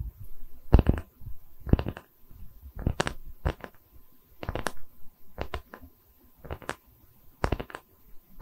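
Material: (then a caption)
Wood. A round, solid wooden tree-slice coaster is held in both hands while long red nails scratch across its cut face. Short, dry scratching strokes come in repeated bursts with brief pauses between them, each stroke with a quick brushing edge over a soft, low rumble. The sound stops the moment each stroke ends.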